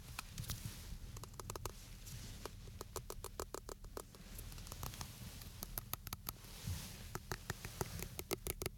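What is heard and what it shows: A green and white Gillette shaving gel can, a hollow metal aerosol can held upright in both hands between two microphones, is tapped and scratched along its body with fingertips and nails. Quick, dry, bright clicking taps land in irregular bursts over a steady low, rumbling scratch. Each tap stops at once with no ringing.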